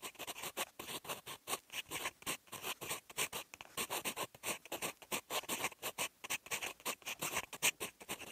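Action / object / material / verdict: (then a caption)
scrape / fountain pen steel nib on lined paper / paper / none. A fountain pen's steel nib scratches across a sheet of lined writing paper, writing in green ink. About 46 short, crisp scratching strokes come in quick bursts, with a dry, bright tone centered around 2.5 kHz and almost no low end.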